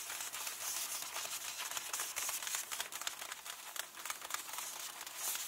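Fingertips rub and tap the illustrated glossy page of an open hardcover book while fingernails trace the picture. The result is a soft, continuous bright scratching and crinkling rustle, broken by many quick, irregular taps, with almost no low end.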